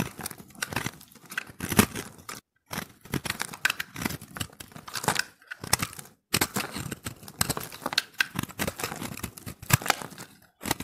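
A steel utility-knife blade shaves and scrapes flakes off a fist-sized, hand-held recycled soap ball of pressed multicolored dry soap chips. The result is a dense run of dry, crisp scraping and crunching strokes with bright, papery tearing texture, broken by a couple of brief silent pauses.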